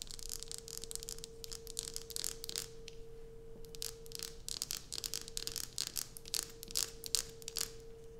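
Long nails scratch and tap a solid light-blue bar of soap resting on a dark sheet, which is then lifted. Quick, irregular bursts of bright, dry scratching and crisp taps sound over a faint, steady hum near 460 Hz.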